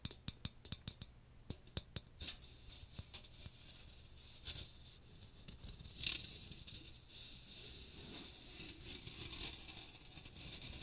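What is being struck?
Metal mesh colander with plastic rim.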